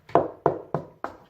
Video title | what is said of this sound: How to fit curtain and pole | that's what concrete sounds like so then you'd need a masonry drill